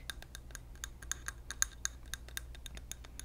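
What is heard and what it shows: Fingernails tap a clear glass candle jar filled with wax, its wick lit, while it is held in the hand. The quick, irregular taps make bright, high clicks and clinks that stop almost at once, over a faint low hum.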